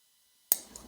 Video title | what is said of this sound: Tenable Fenrir Unboxing | you can hear that pop so you got a little bit button stick here but it's not too bad